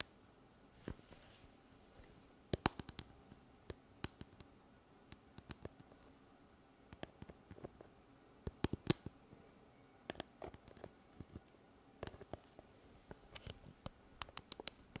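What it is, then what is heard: Plastic cylindrical Bluetooth speaker. A handheld, pale pink, hollow hard-plastic cylindrical Bluetooth speaker with a ridged grille strip is tapped and scratched with long red nails close to the mic. Irregular clusters of sharp, dry clicks and taps stand out against a quiet background, with faint scratchy rustles between them.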